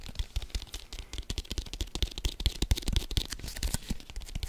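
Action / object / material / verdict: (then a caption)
tap / inflated leather football / leather / none. A full-size brown leather American football, hollow and inflated, is held in both hands and tapped and scratched quickly with fingertips and nails. The result is a rapid, irregular patter of short, deep, hollow thumps layered with bright, dry scratching clicks, with no ringing after each tap.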